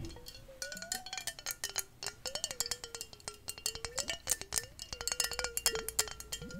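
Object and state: Glass bottle.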